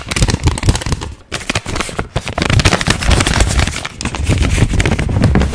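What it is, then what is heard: Paper banknote being crinkled. A single thin paper 20-euro banknote is held in both hands close to the microphone, folded and unfolded while fingertips crinkle and rub it. Dense, rapid crackles and crisp rustles run almost continuously, with bright paper snaps over a heavy low handling rumble. There is a brief lull about a second in.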